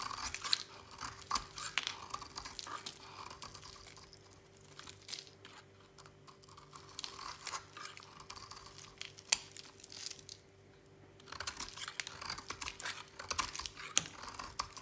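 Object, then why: Bar of soap cut with a blade. A utility knife blade carves a solid white oval bar of dry soap held in the hand, scraping it into chalky flakes. Bright, crisp scraping and crunching strokes come in dense bursts, with quieter stretches around the middle and just before the final burst. A faint steady hum sits underneath throughout.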